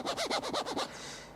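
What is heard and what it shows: A ridged, striated plastic protective phone case, included in the box with a POCO F2 Pro smartphone, is scratched across its back plate. Six quick rasping strokes with bright, swooping tones are heard, then a faint fading hiss.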